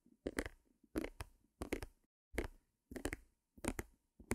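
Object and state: Small stretched canvas.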